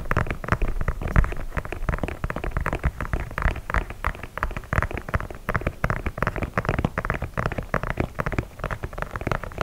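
Fingertips and nails scratch and tap the leather toe and side of an empty white leather sneaker held upright. The result is a steady stream of quick, dry, dull taps and scratchy rustles with a heavy low thump. Each sound dies away almost instantly.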